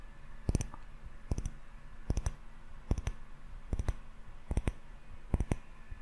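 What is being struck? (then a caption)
Small glass jar candle with wax and metal lid. A small glass jar candle filled with solid yellow wax and topped with a metal screw lid is held in both hands and tapped on its glass sides with fingertips and short nails. Seven short bursts of quick, crisp clicking taps come at a slow, uneven pace, each with a bright glassy tick over a soft low thud. The taps die away almost instantly.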